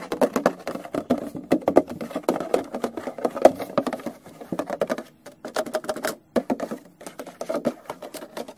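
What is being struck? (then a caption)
Clear plastic packaging box. A small, hollow, clear plastic retail case holding a yellow product box is held in hand and tapped rapidly with fingertips and nails. The result is a dense, pattering stream of short, dry, hollow clicks centered in the midrange, with brief pauses before the tapping resumes.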